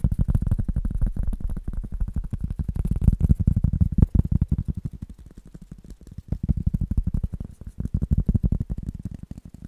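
A rubber object is tapped in fast, uneven bursts that make dense, dull, low thumps with almost no ring. The tapping eases to a softer stretch midway, then picks back up.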